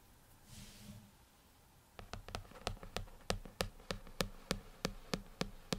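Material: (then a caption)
Glass. Fingertips of both hands tap repeatedly on the dark glass touchscreen of an iPad lying flat on a desk, giving fourteen short, dull clicks with a brief bright edge and almost no ring. A soft airy hiss comes first, then the taps follow at a quick, slightly uneven pace over a quiet background.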